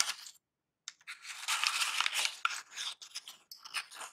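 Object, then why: Kraft packing paper. A wad of crumpled brown kraft packing paper is held over a box and scrunched and crinkled with both hands. Bright, dry crackling and rustling comes in dense bursts, with a brief pause near the start. The crinkling is mostly high and sharp, with almost no low end.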